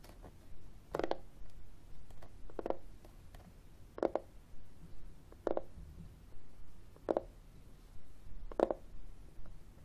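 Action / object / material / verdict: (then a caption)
tap / plastic external CD drive casing / plastic / none. Fingernails tap and scratch the matte surface of a flat, hollow, black plastic-cased external CD drive held in the hands. Six sharper taps, roughly every one and a half seconds, give short hollow knocks centered around 550 Hz. Quieter scratching and small clicks fill the gaps over a low, dull background.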